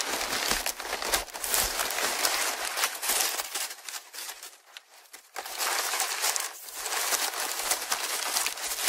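A large sheet of thin brown kraft packing paper, held in both hands in front of a Tascam recorder, is squeezed and crumpled by the fingers. Dense, bright crinkling and crackling fills the clip, fading to a softer lull around the middle before a burst of loud crumpling resumes.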